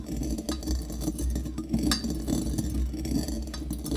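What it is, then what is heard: Brass mortar with coffee beans being pounded. A metal pestle repeatedly strikes and grinds coffee beans inside a small, hollow brass mortar held in the hand. Quick clinking taps ring out over a steady low hum with a mid-pitched metallic tone, while bright crunching ticks from the beans come through faintly.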